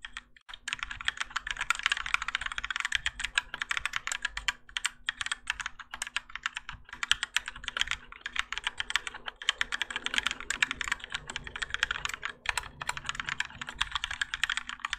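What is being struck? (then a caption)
Mechanical keyboard with plastic keycaps. A Keychron K4 compact mechanical keyboard with Gateron Yellow switches and grey and orange ABS plastic keycaps, on a plastic and metal case resting on a desk mat, is typed on continuously by both hands using their fingertips. Rapid, overlapping bright clacks and taps come in a dense, steady stream with very short decay. A faint low hum sits underneath throughout.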